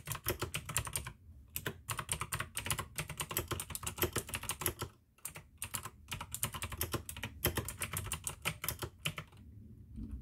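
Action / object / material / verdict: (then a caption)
tap / plastic mechanical keyboard / plastic / none. Fingertips type fast on the keycaps of a full-size pink plastic AUKEY mechanical gaming keyboard with RGB backlight, clicky blue switches and a hollow case. Bursts of sharp, bright clicks rattle over a low hollow thump, broken by a few short pauses.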